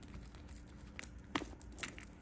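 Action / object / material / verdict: shake / metal handbag chain strap / metal / none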